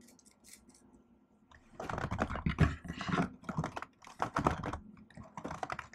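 Long-nailed fingers type and tap on the plastic keys of a laptop keyboard set in an aluminum body. After a quiet start, a dense run of soft, quick clicks and nail taps begins near two seconds and continues in uneven bursts to the end, with a short pause between them.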